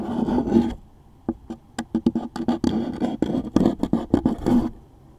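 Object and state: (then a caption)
Cardboard tissue box being scratched. A wooden toothpick scratches the top surface and label of a closed, hollow, medium-size cardboard tissue box held in one hand. A dry, rasping scrape with a hollow, boxy resonance starts the clip, then after a brief quiet comes a run of short, sharp scratches that build back into continuous scraping before fading out.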